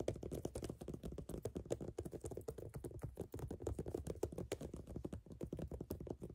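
Long fingernails tap and scratch the solid brown ridged rubber outsole of a platform sneaker held up in the air. The result is a fast, continuous run of dull, muted clicks and scrapes, heavy in the low range with almost no bright content. Each tap dies away almost instantly.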